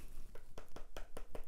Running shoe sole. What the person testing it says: voyez ici ça sonne creux ici